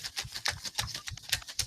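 A cup holding paper request slips is shaken, giving a quick series of dry, bright rattling bursts as the slips shift and tap inside. The rattle confirms the cup is not empty.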